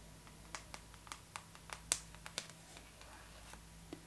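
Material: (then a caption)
Glossy paper. Long pink acrylic nail tips tap and scratch across the glossy paper cover of a Vogue magazine lying flat. About eleven quiet, sharp, bright clicks land at uneven intervals, each dying away almost at once. Faint scratchy rustles and a low steady hum sit underneath.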